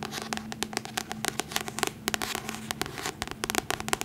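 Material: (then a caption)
Paper. Long fingernails tap and scratch across the paper cover of a solid paperback copy of The Hobbit held upright. The result is a rapid, irregular series of sharp, bright clicks and crackly scratches that stop almost instantly, over a soft, steady low hum.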